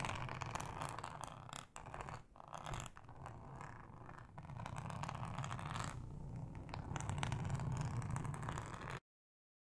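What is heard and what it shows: Long acrylic nails scratch with both hands across a thin, flat, solid yellow ribbed plastic cutting mat, making a dense, continuous rasping texture with a low, purr-like rumble underneath. The scratching runs steadily with brief dips near the two-second mark and grows slightly louder toward the end before cutting off abruptly.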